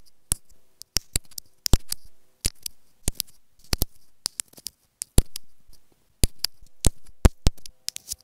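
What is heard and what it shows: Long nails tap repeatedly on a small, hollow white plastic inline remote and microphone on an earphone cable resting on fabric. About thirty sharp, dry, clicky taps come in an uneven rhythm, each bright and very short with almost no ring. Soft scratchy rustles and a faint low hum fill the gaps between them.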